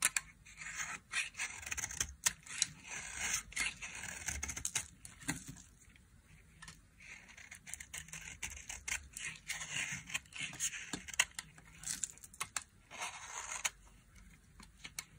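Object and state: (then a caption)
Dry soap bar being scraped. A small metal blade scrapes curls off a dry, solid white bar of soap with carved edges as it rests in an open palm. The result is a run of short, crisp, bright scraping and shaving sounds with quiet gaps between strokes.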